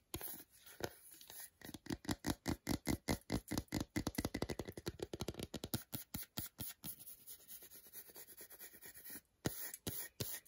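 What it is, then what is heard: Milk chocolate bar scratched with nails. Long nails scratch the smooth, flat back of a solid milk chocolate bar held in hand, leaving visible scratch marks. Quick, dry scratching strokes come in a fast, uneven rhythm, dense in the middle and thinning out toward the end with short pauses.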